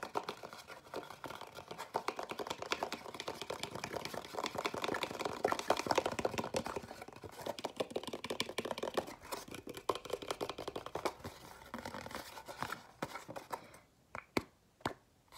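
A small, hollow, empty white cardboard dessert box is held close and tapped and scratched with fingernails on its sides and lid. The result is a dense, rapid stream of dry, soft scratching and clicking centred in the mids, with little low end and no ring. Near the end it thins out to a few sharper, isolated taps separated by silence.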